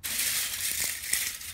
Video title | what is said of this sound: How to Make Biochar | it sounds like glass. Pretty cool. Pure carbon.